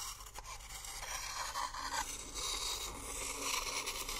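A wooden spoon, held by a hand with long nails, scrapes and stirs inside an empty, hollow, hand-sized coconut shell bowl held in the other hand. The sound is a continuous bright, rasping scrape with a hollow tone around 1 kHz, swelling and easing in rough strokes.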